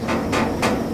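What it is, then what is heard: Empty railroad tank car. Knocks on the outside of a steel railroad tank car bearing hazmat placard 1265 (pentane) give hollow, ringing thuds with a resonant tone around 500 Hz that lingers between strikes. The sound suggests the car is empty, though nothing is opened to confirm it.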